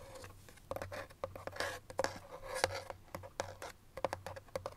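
Fingertips and nails rub, scratch and tap along the surface of a small, hollow white paperboard box held in the hands. Soft, dry scratching runs under a string of quick, sharp clicks that give a short, hollow ring around 527 Hz with a low hum beneath, and each one dies away almost at once.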